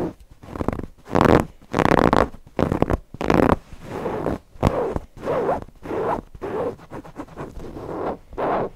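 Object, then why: Stuffed cotton owl cushion. Fingernails scratch the polka-dot cotton fabric and appliqué edges of a stuffed owl cushion in 12 separate bursts of dry, zipper-like rasping. The first few strokes are loud and bright; the later ones are softer and more muffled, with short silences between them.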